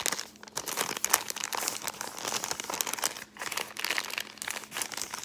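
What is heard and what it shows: A folded brown kraft paper bag is scratched with long painted nails and crinkled between the fingers. The result is a dense, continuous run of bright, crackly crinkling and scratching with quick papery snaps, briefly dipping quieter before picking back up.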